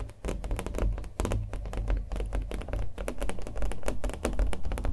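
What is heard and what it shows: Fingernails tap the face and edges of a small acrylic-painted stretched canvas, hollow-backed and held in the hands. The result is a rapid, irregular flurry of short, dry taps over a deep, hollow drum-like thrum, each tap dying away almost instantly.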